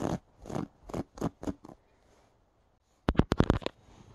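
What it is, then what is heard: Knitted yarn pumpkin decoration. Fingertips with long dark-painted nails tap and scratch the knit surface of a brown hand-knitted yarn pumpkin, about 15 cm tall, with a soft stuffed body and a twine stem, sitting on a couch. Six soft, brushy scratches come first at an uneven pace, then a short pause, then a quick flurry of sharper, drier taps that fade into faint rustling.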